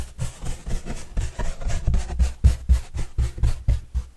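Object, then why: Corrugated cardboard pizza box. A large, flat, hollow white corrugated cardboard pizza box with green edges is held upright while its surface is brushed with a yellow-bristle paintbrush. About 11 soft, dull, low brushing strokes land at a steady rhythm of roughly four per second, each a muffled, thumping sweep with very little high-end hiss.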